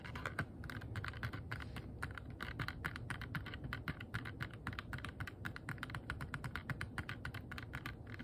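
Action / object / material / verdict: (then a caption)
tap / small clear plastic box / plastic / none. A small, hollow, rigid clear plastic box that appears empty is held in both hands and tapped with long nails and fingertips. Quick, quiet, irregular taps come at roughly four per second, each a short hollow click with a low body and a brighter tick on top, dying away almost at once. The tapping runs continuously throughout, with no voice.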